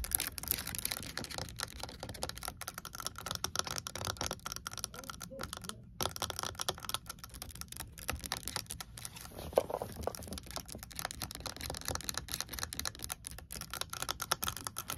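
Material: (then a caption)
Plastic. Long acrylic nails tap quickly on the hard plastic flip-top lid of a large pink water bottle with a fabric sleeve. A fast, steady stream of dry, bright clicks fills the clip, each tap short with almost no ring, over a faint low background hiss.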